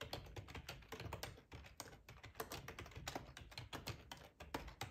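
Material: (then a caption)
Plastic. Fingertips type steadily on a black plastic ergonomic split keyboard with a hollow housing, resting on a cloth tablecloth. A quick stream of soft, clicky key taps, each with a low hollow thump and a short, dry decay, runs continuously through the clip.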